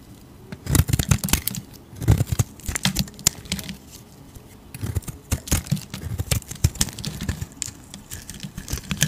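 A hand-sized solid cream soap bar is shaved with a metal utility blade that curls off shavings. Short bursts of crisp, crackly scraping come in irregular clusters with quiet pauses between them. Each stroke has a soft low body and bright, dry edges that stop almost at once.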